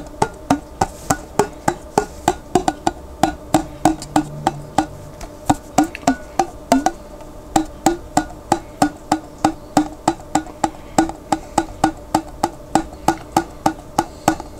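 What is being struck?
Glass jar containing water.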